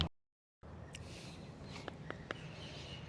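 An unripe pomegranate still on the tree is tapped four times with a finger to check whether it is ripe. Each tap is a short, dull knock that dies away almost at once, heard over steady low outdoor background noise. The fruit is not ripe yet.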